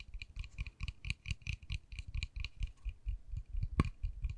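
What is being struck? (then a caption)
Small painted wooden miniature door. Long nails tap and scratch a small, solid, white-painted wooden miniature dollhouse door with a pink panel and a tiny knob, held in the hand. About sixteen quick, unevenly spaced taps are heard, each a soft low thump with a dry, bright click. The taps die away almost instantly, and one sharper, louder click comes near the end.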